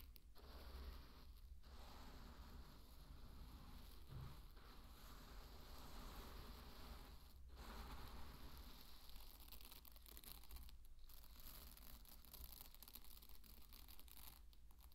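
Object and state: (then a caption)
Pearl barley grains being raked and poured. Fingertips dig and rake through a large, loose bed of dry pearl barley grains, then scoop and pour them. The result is a steady, quiet hiss of rustling, crinkling grains with a low rumble underneath and no clear gaps between movements.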